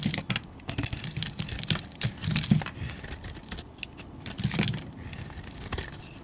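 A solid oval white bar of soap, held in the hand, is shaved with a metal utility-knife blade, cutting off flakes. Repeated short, crisp scraping and crinkling strokes have a bright, high hiss over a soft low thump. The bursts stop abruptly with no ringing between them.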